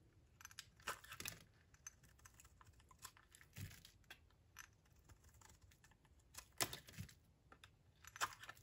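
A utility knife blade shaves the edge off a solid oval bar of dry lilac soap held in the hand. Quiet, dry scraping and crisp crumbly crackles come in irregular bursts with bright, high grit. Each short cut dies away almost instantly.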